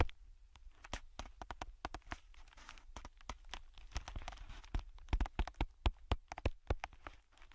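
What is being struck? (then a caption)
Thin clear plastic bag. A thin, empty, hand-sized clear plastic bag is held in both hands with the fingertips and crinkled and rubbed, the film flexing and folding. Rapid, irregular sharp crackles and snaps sound over a soft rustling bed, growing louder and more pronounced toward the end.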